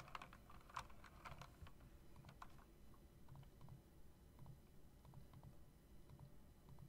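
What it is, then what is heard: Typewriter-style mechanical keyboard being tapped. Fingertips with long dark nails tap the keys of a typewriter-style mechanical keyboard with round plastic keycaps and metal rims. Short, quick clicks come in irregular bursts, busiest in the first second and a half, over a steady low rumble. Each click is crisp and dies away almost at once, and the whole clip stays soft.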